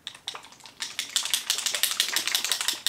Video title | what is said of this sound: NEW Ilia C Beyond Triple Serum SPF 40 Mineral Sunscreen with Vitamin C and Niacinamide! | we'll shake it and there's a little metal ball in here